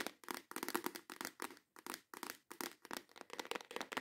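Long acrylic nails tap rapidly on the lid of a clear plastic organizer box full of nail tips, then on the box as it is held up. The result is fast, intense bursts of dry, bright plastic clicks and light scratching in quick clusters, with brief gaps and almost no low end.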